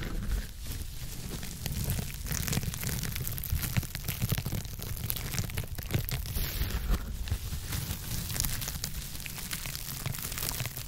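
Long acrylic nails on both hands scratch a blue textured foam scrub sponge with a white base, held close to the microphone. The result is a dense, steady crackle of scratchy, crinkling strokes over a heavy low rumble, with bright hiss on top and no pauses for the whole clip.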